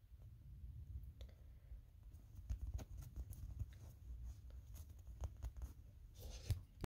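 Fingertips and nails tap and scratch the pink face and red feet of a small, hand-sized hard plastic Kirby toy figure that is likely hollow. The sound is quiet and low, with soft dull thuds and brief sharp clicks and scrapes over a steady low rumble, each tap dying away almost at once.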